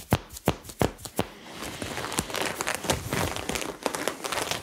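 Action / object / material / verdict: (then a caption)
scrape / cotton top with sequin patch / sequins / none. Fingertips and nails scratch across the sequin lettering patch on a white cotton crop top worn on the body, over the chest area. Four sharp, separate scratches open the clip, then give way to a continuous, dense crinkling and rasping texture with a bright, high sizzle.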